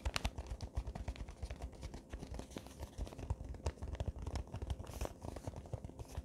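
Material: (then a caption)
Paper. A small gift-wrapped paper box in Christmas wrapping paper is crinkled and scratched with fingertips and nails. It makes a rapid run of quiet, dry crackles and scrapes that stop short with no ring, low and muffled in body with bright crisp edges.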